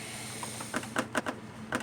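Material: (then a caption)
Metal. The radiator of a 1992 Lexus ES300 is shaken by hand, giving five short, sharp rattling knocks over a steady low background hum. The radiator is loose because its bracket bushings are worn, which causes the noise the car makes while driving.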